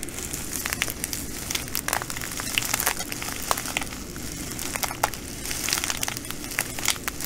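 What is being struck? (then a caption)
Plastic bag filled with glass bugle beads. Fingers fold and squeeze a full plastic bag of green glass bugle beads. The beads crunch and crinkle in a dense, bright crackle of short, sharp clicks over a low steady rumble for about seven seconds.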